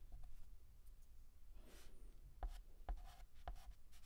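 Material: Chalk.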